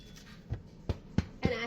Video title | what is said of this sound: How to make a Turkey Shaped Loaf of Bread for Thanksgiving! | I flip it over and I hit it and see if it sounds like it's Hollow and this does